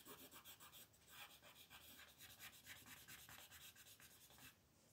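A yellow wooden colored pencil scratches and rubs across a flat sheet of white paper printed with a monkey, lying on a table, while coloring the monkey's face as the other hand rests on the sheet. The quiet, bright, raspy strokes come quickly, about four per second, in an uneven rhythm. The scratching stops just before the end, leaving only a faint hiss.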